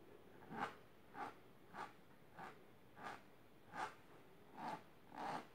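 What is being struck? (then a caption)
Fabric-covered storage box. Long silver nails scratch with both hands across the fabric surface of a large pink patterned fabric-covered storage box or ottoman. Eight quiet, separate scratchy strokes sound at a steady unhurried pace, each a soft brushy rasp centered in the mid range with a faint bright edge.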